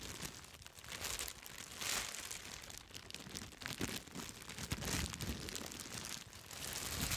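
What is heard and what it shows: Long red acrylic nails scratch and press a large sheet of clear plastic bubble wrap, held upright in front of the microphone, popping its air-filled bubbles. The result is a steady, bright crinkling and rustling broken by frequent sharp snaps and pops, with some low thumps.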